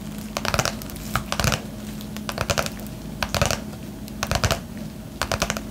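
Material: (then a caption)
Paper, plastic. Long manicured nails tap and scratch the surface of a flat yellow padded bubble mailer (paper/plastic) held upright in both hands. Short clusters of quick, crisp, crinkly clicks and scrapes come in bursts, separated by quieter pauses, over a faint steady low hum.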